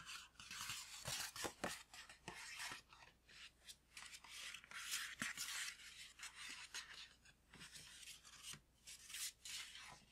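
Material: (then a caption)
Paper. Fingertips and nails tap and rub a tall green paper gift bag with string handles and a tag, which appears empty. Quick, irregular dry taps mix with bright, crinkly papery rustling that is mostly high in pitch with almost no low end. The sound stays quiet and close throughout.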